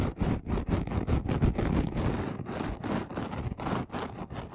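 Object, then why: Chunky glitter sheet. A flat, gold and red chunky glitter sheet about A4 size, lying on a dark cloth, has its coarse surface scratched fast with the short nails and fingertips of both hands. Quick, rough scratching bursts follow one another in an uneven rhythm, each a dry, gritty rasp with a heavy low rumble and little bright edge, cutting off almost at once between strokes.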